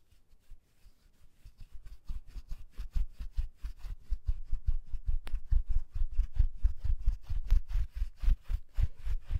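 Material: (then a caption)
Fleece fabric. A pair of soft black fleece gloves worn on both hands rub palm against palm and finger against finger close to the microphone. The result is a series of soft, low, muffled swishes at a quick, slightly uneven pace, starting faint and growing louder after the first couple of seconds. A brief sharp tick is heard midway through.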